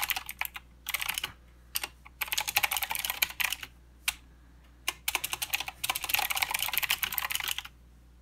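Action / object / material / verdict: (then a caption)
tap / mechanical keyboard with plastic keycaps / plastic / none. Both hands type with their fingertips on a mechanical keyboard with plastic keycaps and blue switches, making bursts of rapid, bright, dry clicks. The clicking comes in uneven runs separated by short pauses, with isolated keystrokes in between, over a faint low hum.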